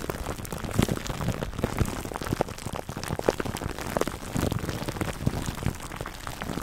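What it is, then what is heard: Cling film over a foam mic cover. Fingertips scratch clear cling film wrapped over a black foam microphone windscreen. The result is a dense, continuous crinkling and crackling made of many short, sharp pops, with a heavy low, muffled rumble and only a little high-end hiss.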